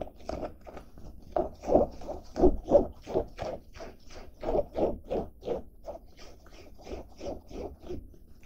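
Fingertips and nails scratch and rub the fabric of a blue denim jacket with a zippered pocket, held up close. The result is a steady run of dry, rasping strokes, about three per second, with a muffled midrange tone and no bright edge. The strokes swell and fade unevenly in loudness, each one cutting off quickly with almost no ring.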